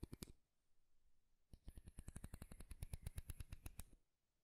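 Fingertips and nails strum the teeth of a light wooden comb with a handle, held near the mic. A short burst of sharp, dry clicks is followed by a brief pause, then a longer, steady run of rapid ticking that stops abruptly. The clicks are bright and snappy, with a faint low thump beneath each.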